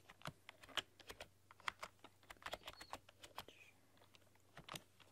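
A full-size plastic computer keyboard with black keycaps and a rainbow RGB backlight is typed on with long, dark-polished nails and fingertips. The result is a quiet, steady run of sharp, dry key clicks and taps with no ring, bright and crisp, over a faint low hum.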